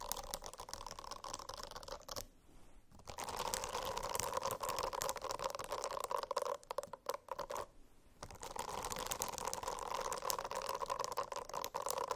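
A silicone-covered notebook is scratched with the nails for ASMR. Dense, rapid scratching with a steady mid-range tonal band runs throughout, broken by two short quiet pauses around 2 and 8 seconds.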